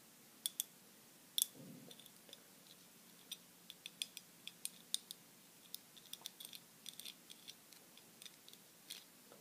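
Long glittery nails tap and scratch a small round ball wrapped in crinkled silver aluminium foil, held close to the camera. About thirty quiet, sharp, bright clicks and crinkles come at an irregular pace, each dying away almost instantly. A brief soft low rustle sounds near the start.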